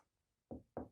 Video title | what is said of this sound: Major Items To Consider When Building A Basement Apartment or ADU | this sounds Hollow